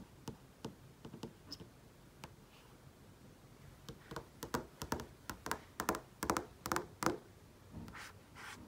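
Painted fingernails tap and trace across the surface of a large flat-panel TV screen. Sharp, dry clicks come in an irregular series that grows denser and louder in the middle, with soft, brushy tracing strokes between them and near the end.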